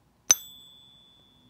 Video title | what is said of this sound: Ping Test - 24k Gold Buffalo vs 22k Gold Eagle - Better Sound! | You can hear it has that delicate golden jingle.